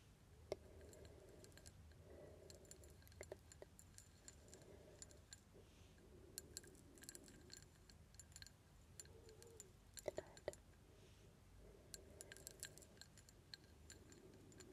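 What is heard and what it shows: Long red nails tap and scratch across a medium-sized grey glass jar with a hobnail texture that holds a lit candle. The sound is quiet, with many short, sharp clicks and bright, brief ticks scattered over soft, steady scraping. Each tap dies away almost at once.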